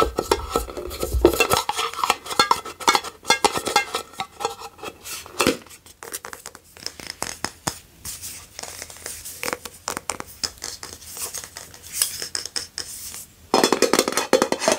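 Long nails tap and scratch a frosted orange glass candle jar that is filled with solid wax and has a label on it. Quick, dry clicks mix with bright, scratchy rubbing, and each tap dies away almost at once. Denser, louder bursts come near the start and again at the very end.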